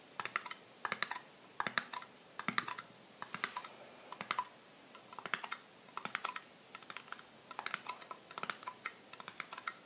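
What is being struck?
Small metal cream tin lid.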